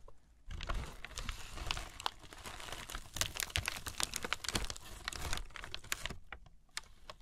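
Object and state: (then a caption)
Tissue paper crinkling. Long nails and fingertips scratch, tap and rub a crumpled sheet of thin tissue paper lying over a box. After a brief quiet start, a dense stream of crisp crinkling runs steadily, then thins to scattered sharp ticks near the end.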